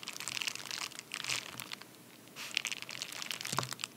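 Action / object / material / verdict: scrape / padded paper mailer / paper / none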